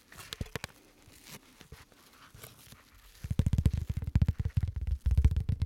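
Gloved fingertips tap, scratch and crinkle a thin, card-sized sheet of clear rigid plastic with a white tab, held in the hand. Soft, sparse clicks and faint crinkling fill the first three seconds, then give way to louder, rapid, uneven tapping with dull, low, thumpy bodies and brief crisp edges.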